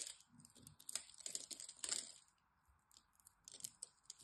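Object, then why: Bar of soap cut with a metal blade. A metal blade cuts small cubes off the scored surface of a solid green dry soap bar held in the hand, producing quick, bright, crunchy scratching and cutting sounds as the flakes break away. The crisp, dry crunches come in busy bursts, pause briefly in the middle, then return in a lighter run of cuts.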